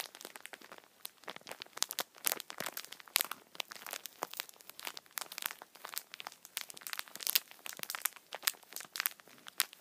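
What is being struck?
Tissue multipack in thin plastic film.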